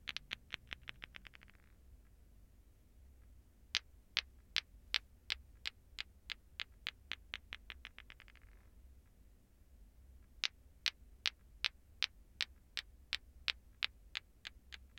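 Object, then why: Two plastic balls on a string (clacker toy). A lato-lato ball clacker, two small solid glowing green plastic balls on a string held from above by the fingertips, is swung so the balls knock together in sharp, bright, dry clacks with almost no ring. A quick burst of clacks speeds into a rattle and stops; after a pause, steady rhythmic clacks build faster into another rattle. After a second short pause, an even clacking rhythm runs to the end.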